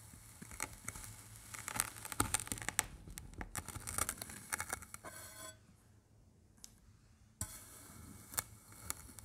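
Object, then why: Kinetic sand slab cut by a metal knife. A metal knife blade presses and scrapes through a large, flat, solid slab of pink, green and blue kinetic sand shaped like a fish, lying on a white surface, cutting crunchy grid lines. Dense, bright crunching and crackling fills the first half, with sharp clicks and grainy scraping. After a near-silent pause, the crunching resumes with a sharp snap.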